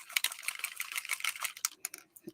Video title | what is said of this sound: MLSS SEPTEMBER CHALLENGE COME CRAFT WITH TE!!! | as you shake it you can hear the little ball rattle and that is mixing up the pigment